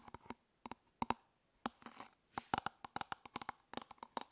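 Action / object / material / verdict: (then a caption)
tap / hard plastic toothbrush travel case / hard plastic / none. Long nails tap and scratch the surface of an elongated, hollow hard-plastic toothbrush travel case held in one hand. About 22 quick, dry clicks ring out with a hollow, mid-pitched plastic tone and bright edges, each dying away almost instantly. A soft scratchy rasp runs through the middle, and the tapping grows quicker and denser toward the end.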